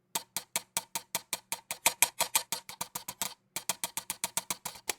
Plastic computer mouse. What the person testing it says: if I take the mouse and I just take it and tap it, you hear all that just rattling around with it